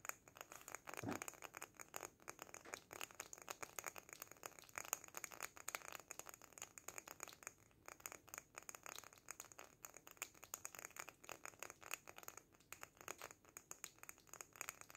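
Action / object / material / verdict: tap / small glass jar filled with sand / glass / none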